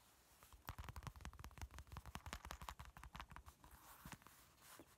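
Fingertips and nails scratch and rub across a flat fabric zipper pencil pouch with a fox print. The result is a quiet, rapid and uneven run of short, dry scratching strokes, with soft, low rubbing between them.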